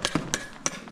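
Someone taps on the glacier ice wall of an ice cave at Zermatt. Four short, sharp knocks with bright, brittle high-frequency content and a low thud, each dying away almost instantly.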